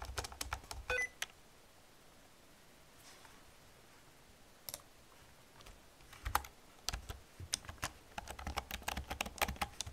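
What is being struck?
Plastic computer keyboard.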